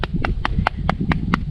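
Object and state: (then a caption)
Solid mortar cap on a stone wall, not hollow. Evenly spaced taps on the freshly finished mortar cap of a rebar-reinforced stone retaining wall, each one short, dry and clicky with no ring, over a steady low rumble. The cap sounds solid and firmly bonded, not hollow.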